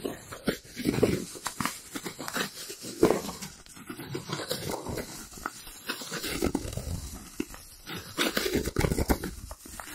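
A white round styrofoam plate, held to the left of the microphone, is rubbed and scratched with fingertips and nails. The result is a stream of squeaks and scratchy, crinkly friction sounds with short bursts throughout.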